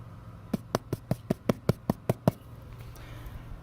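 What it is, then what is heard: Gutter downspout packed with debris (dull). Ten quick knocks are rapped in a steady run on a lower gutter downspout, each a short, dull, low thud with almost no ring. The deadened sound shows the downspout is full of debris, and taking it apart confirms pine needles packed in and plugging the gutter.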